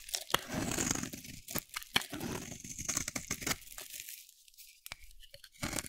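A solid, dry pink soap bar held in the hand is shaved with a metal utility blade, giving crunchy, tearing scrapes with crisp high clicks and crackles. The scraping comes in uneven bursts with short pauses, fading quieter near the end before a final burst.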